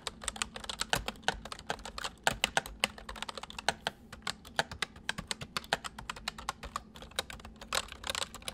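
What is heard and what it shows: Both hands type quickly with their fingertips on a full-size white plastic mechanical keyboard with white keycaps, resting on a wooden desk. A rapid, steady stream of dozens of sharp, bright clicks and clacks fills the clip, each one short and dry, over a faint low steady hum.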